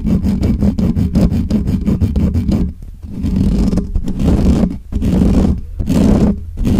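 Both hands scratch and rub the hollow metal mesh grille of a black Blue Yeti microphone with nails and fingertips. Fast, rhythmic scratching strokes come first, then longer, continuous rubbing passes with brief pauses between them. The result is loud, bassy, muffled scraping and thumping close to the mic.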